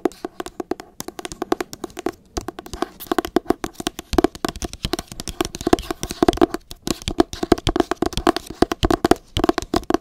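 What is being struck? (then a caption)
Hardcover book cover. Long acrylic nails tap and scratch the cover of a teal hardcover copy of "Me Talk Pretty One Day" held close to the mic. The result is a rapid, uneven run of dry, hollow clicks pitched around 344 Hz, each dying away almost at once, with faint scratchy rustles between them.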